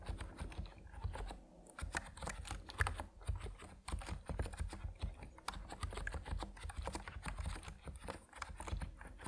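Fingertips of both hands type on an Epomaker NiZ Plum Atom 68, a 68-key compact mechanical keyboard with white and purple PBT plastic keycaps resting on a wooden desk. A steady run of short, deep, muted key clacks fills the clip with very little ring.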